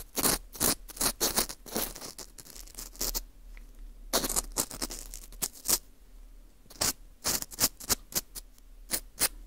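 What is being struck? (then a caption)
Dried wheat gluten ring (fu) scraped with a plastic earpick. A green plastic screw earpick scrapes inside the hole of a small, hollow ring of dry, porous baked wheat gluten (fu) held in a gloved hand. Short, bright, crackly scraping strokes come in quick clusters, separated by quieter gaps of faint rustling.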